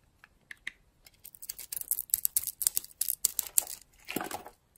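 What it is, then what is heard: Bar of dry soap being carved. A utility-knife blade carves and scrapes a solid, dry oval bar of soap with a red shell and lilac interior, held in a hand with long nails. Quiet at first, it builds into a run of crisp, bright, crackling scrapes and short flaking bursts with no low end. It closes with a longer, fuller scrape.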